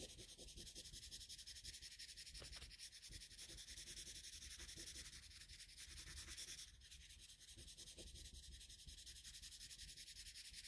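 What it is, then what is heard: Paper drawing sheet. A colored pencil makes short, rapid shading strokes across a flat sheet of drawing paper. The result is a quiet, steady, bright scratchy rubbing with a soft hiss, the strokes blurring together rather than standing apart.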